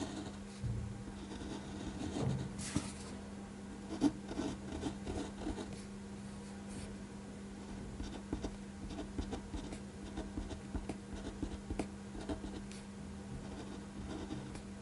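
A clear-barrel gel ink pen draws fine strokes over a pencil figure on a flat white paper sheet resting on a desk, tracing the drawing in ink. Soft, dry scratching and rubbing of the nib on paper comes in short, uneven bursts with a few sharper ticks, over a steady low hum.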